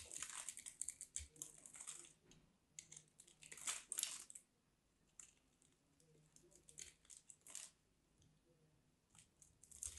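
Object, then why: Bar of soap. A small craft knife blade carves and scrapes a hand-sized, solid, dry pink bar of soap, shaving off powdery flakes. Quiet, bright, crisp scraping and crumbly crunching come in irregular bursts separated by short pauses, with almost no low end.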